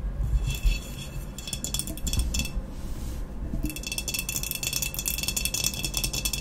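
Long nails tap and scratch quickly on a medium, hollow, empty glazed ceramic vase with a matte black textured body, standing upright. Dense bright clicking and scraping come in rapid bursts over a low rumble, easing briefly near the middle before resuming steadily to the end.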